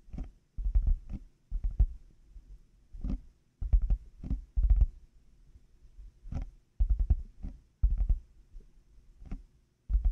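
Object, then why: Plastic headphone earcups. Fingertips and nails tap on the hollow plastic earcup shells of black over-ear headphones resting on a 3Dio microphone. The result is quick clusters of soft, deep, muffled thumps with faint clicky tops, each dying away almost instantly, separated by short quiet gaps.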